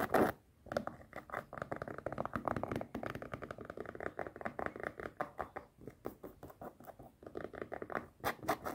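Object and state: Canvas sneaker.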